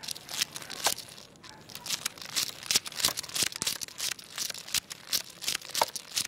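Fingertips push and wiggle a long carved, jointed wooden crocodile toy lying flat on tiles, so its wooden segments click together. The result is a quick, irregular stream of dry, bright clicks and light rattling, with almost no low end and no ring after each click.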